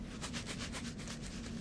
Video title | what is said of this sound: Flosstube #86 SD 480p | when you shake it it kind of sounds like seeds are in there